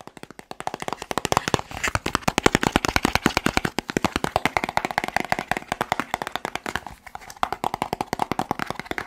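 A small, hollow, white-and-teal printed cardboard medicine box is held in one hand and fast-tapped with fingertips and short nails close to the microphone. About 75 quick, dry, hollow taps with a papery midrange knock follow one another in a steady patter, each dying away instantly. The tapping briefly thins out around the two-second and seven-second marks.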